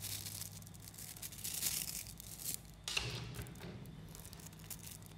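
A mass of 3mm neodymium magnetic balls, a clump of small coated metal spheres, is squeezed by fingertips and then has a chain pulled off it. Dense, bright clicking and snapping crackles throughout, with a sharp burst near the three-second mark over a steady low hum.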